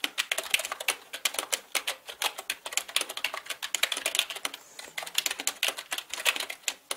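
Fingertips type fast on a black full-size mechanical keyboard with plastic keycaps. The result is a dense, steady stream of rapid, bright clicks and clacks, each key strike sharp and dying away almost instantly, with almost no low end.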